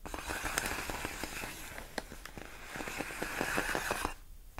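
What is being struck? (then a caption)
Inflated plastic air-column packaging. Long nails scratch and tap across large, clear, inflated plastic air-column cushion wrap made of hollow air-filled tubes. The result is a steady, crinkly scraping texture with sharp, bright clicks scattered irregularly throughout. The sound drops to near silence just before the end.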